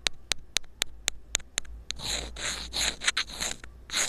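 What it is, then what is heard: Rubber earphone mic housing. A thin metal pick scrapes along the surface of a small black rubber-coated inline earphone microphone taped to a table. Eight crisp, evenly spaced ticks come first, then give way to longer, bright, hissy scraping strokes that pulse in quick bursts, with a faint low hum underneath.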